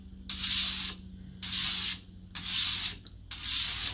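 Long nails scratch and rub across the grain of a solid, long, flat, light wooden paddle board in four steady strokes. Each stroke makes a bright, airy, sanding-like hiss, with brief quiet pauses in between.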